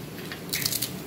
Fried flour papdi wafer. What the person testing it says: अब हम इसको तोड़ के दिखाते हैं। देखिए कितना कुरकुरा हुआ है